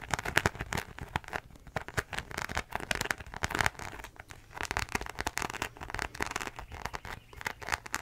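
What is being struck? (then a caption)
Faux leather zip wallet. Long nails scratch and tap the embossed surface of a beige croc-embossed faux leather zip wallet held up in the air. Dense, dry crackling scratches mix with quick, sharp taps in uneven bursts, with brief quieter gaps in between. The sound is centered in the upper mids with a bright edge.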